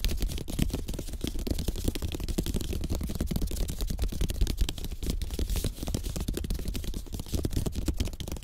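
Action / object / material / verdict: tap / bamboo slat placemat / bamboo / none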